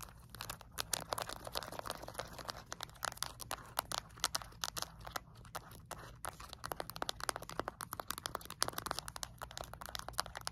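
Long acrylic nails tap quickly on the rubber buttons and edges of a small, flat plastic LED remote control. The result is a dense stream of dry, crisp clicks and crinkly ticks with bright highs and almost no ring, over a faint steady low hum.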